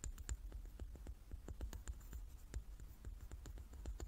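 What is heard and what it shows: Long nails tap the faces of a hand-sized, solid, light wooden die with dark pips, held in both hands. A quick, uneven run of quiet, dry clicks, each a short tick with a bright edge, sits over a steady low rumble.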